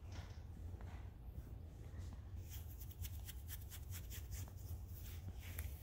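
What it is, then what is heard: Woven fabric dress pants being scratched. Fingertips and nails scratch and rub light grey woven suiting-fabric dress pants over the thigh and knee of crossed legs, with small rustles from the legs shifting. Faint soft rubbing gives way after about two seconds to a quick run of crisp, bright scratching strokes, all over a steady low hum.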